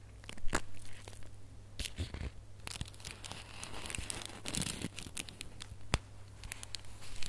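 Fingers and nails scratch and crinkle a small red holographic foil gift box ornament with gold string. Quick, bright crackles and tearing-like rustles come in irregular bursts over a steady low hum.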